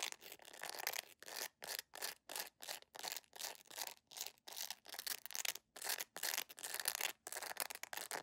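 A beige jelly plastic sandal with a flat, solid, rubbery sole is held up close and scratched rapidly with long nails. The result is a fast series of short, bright, hissy scratching bursts separated by brief silences, with almost no low end.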